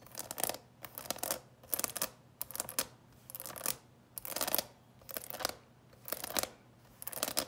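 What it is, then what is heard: Plastic candy box. Long nails scratch and tap the plastic lid of a small, clear, coffin-shaped candy box with a skeleton on top, filled with candies. The result is repeated bursts of bright, dry scratching and light clicking at an uneven rhythm, separated by brief quiet gaps, with no ringing after each touch.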